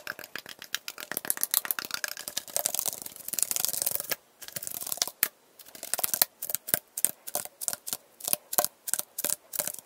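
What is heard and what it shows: A tall, hollow aluminum Arizona iced tea can, held sideways with its fill level unclear, is tapped and scratched along its side with fingernails. Rapid, crisp, bright clicks and scratchy rasps run densely for the first four seconds, then break into quick separate bursts with short near-silent gaps. Each tap is dry and dies almost instantly, with almost no low end.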